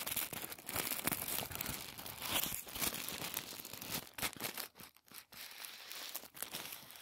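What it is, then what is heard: Tissue paper being crinkled. A folded sheet of thin white tissue paper is pressed, folded and crinkled between the fingertips of both hands. It makes a soft, bright crinkling and rustling with quick crackles, briefly falling almost silent around the five-second mark before the crinkling resumes.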